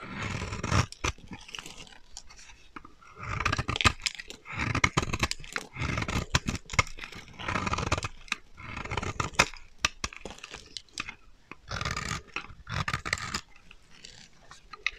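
A solid, dry purple bar of soap held in the hand is carved and scraped with a metal utility knife blade, with shavings piling up below. Bursts of dry, crunchy scraping alternate with short sharp clicks and quieter pauses. Each stroke has a bright, gritty texture over a soft low rumble.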